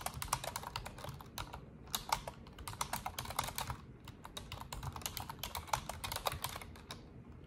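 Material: Plastic.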